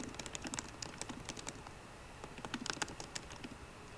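Both hands type rapidly with fingertips and short painted nails on the low-profile black plastic keyboard of a 13-inch MacBook Pro with a grey aluminium body, resting on a wooden desk. The result is a steady stream of short, light, clicky taps with bright high edges and almost no ring, some keystrokes landing louder than others.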